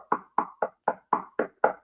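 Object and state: Wooden surface knocked.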